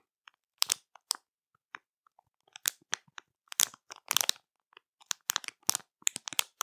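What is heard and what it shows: Long matte nails tap, press and scratch a full plastic marshmallow bag over the soft marshmallows inside. Quiet, bright crinkles and crackles come in short irregular bursts with brief pauses, each dying away instantly with almost no low end.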